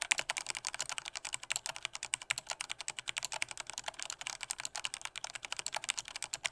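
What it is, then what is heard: Plastic mechanical keyboard. Fingertips type with strong force on a black plastic Corsair K68 mechanical keyboard with red switches, producing a rapid, steady run of about 42 sharp, bright plastic clacks. Each keystroke is crisp and dies away almost instantly, with no low-end thump.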